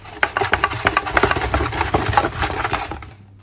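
Finished coconut-coated fried chicken wings are handled and tapped to show off their crispy coating. About sixteen sharp, crackly taps and crunches sound in quick succession over roughly three seconds, then fade out.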